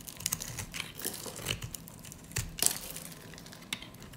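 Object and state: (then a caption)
Dry soap bar, crunchy. A metal utility-knife blade scrapes and cuts along the scored surface of a hand-held, solid, pink, rectangular bar of dry soap, shaving off small crunchy cubes. Quiet, bright, crackly scraping runs throughout, broken by short, dry crunches and sharp snaps with almost no ring.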